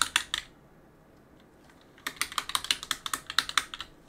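A gloved hand rubs a cloth across the plastic keycaps of a backlit mechanical keyboard, pressing the keys. A quick burst of three sharp clicks comes first, then a pause, then a fast, uneven run of bright, clacky keypresses. In all, 18 clicks are heard, each dying away almost instantly.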